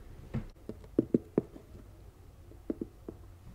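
Long acrylic nails scratch and tap the lid and sides of a medium, hollow, rectangular storage box with a lid, covered in floral-print fabric and sitting beside the microphone; at the end it is lifted and turned toward the mic. A series of soft, dull, low-mid taps sounds over a quiet background, each dying away almost instantly with no ring.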